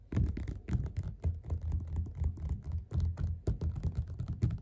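Both hands tap fast with the fingerpads on the cover of a yellow glossy paperback of Othello, lying flat on a table, solid and closed. The result is a dense, rapid patter of soft, dull, low thuds that die away almost at once, with only faint bright clicks on top.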